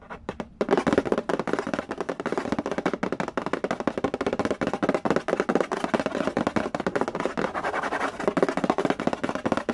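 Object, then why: Cardboard board game box. Fingertips tap rapidly on the lid of a hollow cardboard Candy Land board game box. After a few light taps in the first moment, the tapping becomes a fast, continuous, steady patter. Each tap is dry and short with almost no ring, a hollow mid-range knock with little bass.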